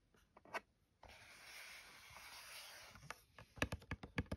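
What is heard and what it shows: Long nails trace over the top of a closed white cardboard phone case box with lettering, then scratch along its edge. A few faint ticks lead into about two seconds of steady, bright scratching, which ends in a quick run of sharp, dry taps and scrapes. The sound is quiet and close.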